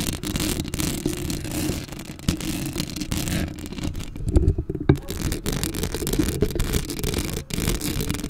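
Long acrylic nails scratch a black metal mesh microphone grille up close. The result is a steady, dense, rumbling scrape heavy in the lows, with a thin, bright rasp above it. A brief softer patch near the middle is broken by a few louder scratches before the steady scraping returns.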